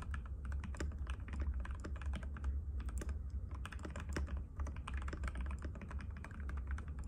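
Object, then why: Plastic mechanical keyboard. Fingertips of both hands type rapidly and continuously on a compact cream-white mechanical keyboard with plastic keycaps and a hollow case, resting on a glass table. The result is a dense run of quick, clicky taps over a steady low hum.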